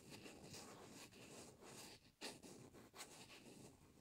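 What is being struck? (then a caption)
Hollow plastic shaving cream can cap. Long red-painted nails tap and scratch the hollow, blue hard plastic cap of a Nivea Men shaving cream can, held upside down next to wrapped microphone ears. A steady, bright, hissy scratching fills the clip, broken by a few sharper, louder taps with quick decay.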